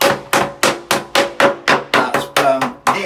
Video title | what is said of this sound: IMG 5658 | you can hear that's blown, that's blown, that's blown